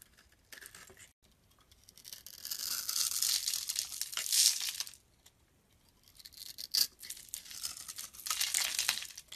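A blade scrapes shavings off a hand-held, solid dark brown bar of soap scored in a grid pattern. Bright, crackly scraping comes in two long passes, separated by a brief quiet pause, with a few sharper crisp snaps along the way.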